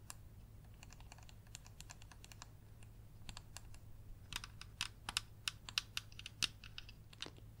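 A small white and yellow plastic mini projector, a hollow casing with a lens, is held in the hands and tapped and scratched with long yellow nails. Quick, dry, bright clicks patter irregularly, some louder and sharper than others, with almost no ring. A steady low hum sits underneath.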